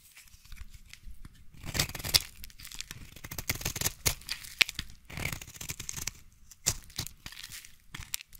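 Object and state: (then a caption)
Bar soap being shaved. A utility knife blade shaves long curls off a solid yellow bar of soap held in the hand. Each stroke gives a dry, crisp scraping and tearing rasp, mostly bright with a light low rumble, in uneven bursts with short quiet gaps between passes.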